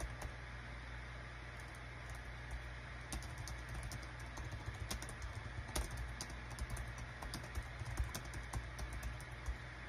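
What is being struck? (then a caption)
Plastic wireless keyboard. Rapid fingertip typing with both hands on a small green-white plastic Dong Guan KPH-030 wireless Bluetooth keyboard with a built-in touchpad, its hollow thin body lying flat on a desk mat. Quick, light, bright key clicks patter irregularly over a steady low hum around 62 Hz, each click dying away almost at once.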